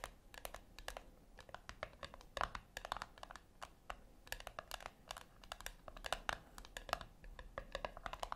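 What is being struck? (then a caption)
Small round metal tin. Long acrylic nails tap on the flat top of a small round brushed-silver metal tin or puck resting on a white cloth. The quick, dry clicks come in dense, uneven bursts with a bright metallic tick and almost no ring, over a faint low background hiss.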